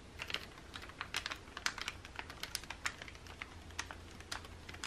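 Fingernails rapidly tap and scratch the thin pages of an open glossy makeup catalog lying on a table, staying on the same spread throughout. The result is a quick, irregular run of crisp, bright clicks and papery scratches with very short decay, over a faint low rumble.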